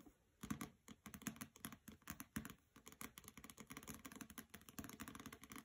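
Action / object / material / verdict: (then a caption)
tap / hardcover book with paper dust jacket / paper, board / none. Long nails tap and scratch the glossy paper dust jacket of the hardcover novel "Graceling," which is resting on a carpet. A quiet, rapid series of short, dry clicks with brief scratchy brushes, each with a low body and a bright edge and almost no ring, speeds into a denser patter toward the end.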